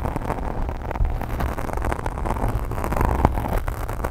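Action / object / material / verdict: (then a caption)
scrape / foam microphone windscreen / foam / none. Long nails on both hands scratch fast across a black foam windscreen on a microphone. The result is a dense, continuous, rumbling scratch heavy in the low end, with many quick, overlapping strokes and no clear gaps.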